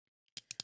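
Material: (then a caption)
Plastic. A plastic snail-shaped fidget toy is tapped, giving two faint ticks followed by four sharp, bright clicks that die away almost instantly. The plastic works well for tapping.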